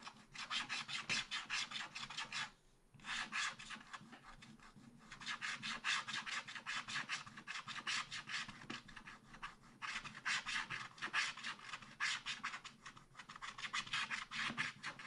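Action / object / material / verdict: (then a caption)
scrape / wax-coated scratch-art paper card / coated paper / none. A wooden stylus scratches the black coating off a thin black wax-coated scratch-art card in a spiral-bound pad lying flat on a table, while the other hand holds the pad. Quick, dense runs of bright, raspy scratching strokes are heard, with a few brief pauses between runs.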